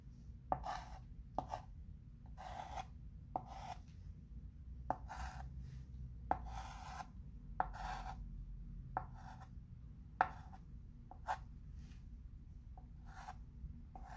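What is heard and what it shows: A chalk pencil draws along the letter edges on a flat wood-framed chalkboard, scratching and rubbing the board surface in short rasping strokes. Twelve sharp taps mark the starts of strokes, with the scratching centred in the midrange around 740 Hz. A steady low rumble runs underneath throughout.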